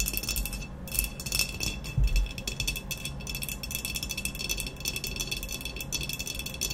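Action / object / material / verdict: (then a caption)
tap / glazed ceramic vase / ceramic / none. Long nails rapidly tap and scratch the surface of an upright hollow ceramic vase with a black textured glaze while both hands grip it. The result is a dense, continuous patter of bright clicks and scrapes over a low rumble, with a brief louder burst around two seconds. Each tap dies away quickly.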